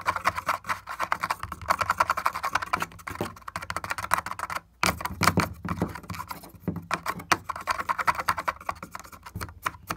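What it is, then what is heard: Cracked wooden board. An index fingertip and nail tap quickly on a cracked, broken wooden panel with splinters. The result is a steady stream of dry, short clicks and knocks centered in the mids, with a brief pause near the middle before the tapping resumes.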